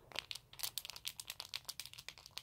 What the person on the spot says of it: there's something rattling inside its head